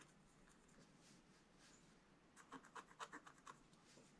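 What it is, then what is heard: Scratch-art paper page being scratched. A wooden stylus, held at a low angle, scratches fine lines into a black-coated scratch-art paper page. Soft, steady scratching first gives a faint hiss, then a quick run of short, crisp strokes with a bright rasp. The whole clip stays quiet and close.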